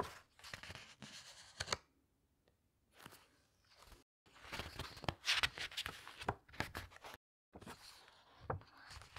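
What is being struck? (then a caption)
Glossy paper pages of a hardcover book. Fingertips with long nails turn and flatten the glossy paper pages of a large open hardcover book resting on a table. Bursts of bright, crisp page-turning swishes and soft rubbing come in clusters, separated by brief near-silent pauses.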